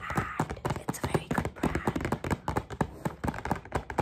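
Two people tap fast on the flat face of a medium-size, hollow white rigid paper/cardstock KAZO gift shopping bag with black trim and rope handles, held upright, using long painted fingernails and fingertips. The result is a quick, irregular run of sharp, dry taps with a low papery thump under bright clicky tops, each dying away almost at once.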